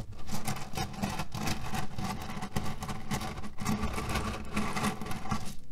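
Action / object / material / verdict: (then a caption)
scrape / cotton pillow filled with cherry pits / cherry pits / none. Fingertips and short nails scratch and press a cotton cushion filled with cherry pits resting on a table, shifting the pits inside. The result is a steady, dense patter of soft, muffled clicks and gritty rustling, weighted toward the low end with faint brighter scratching on top.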